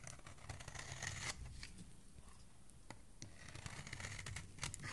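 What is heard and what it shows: A hand with dark nails holds a solid purple-grey soap bar while a metal blade scrapes along its edge. The clip is a quiet run of dry, crisp scraping and shaving strokes with a bright, papery hiss and a low rumble underneath, each stroke short and fading quickly.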